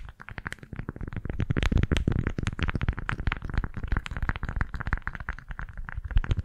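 A pink floral beeswax-coated fabric food wrap is twisted, squeezed and crinkled in both hands close to the left microphone. It makes a dense, continuous run of soft, muffled crackles and rustles, heavy in low rumbling tones with little high end.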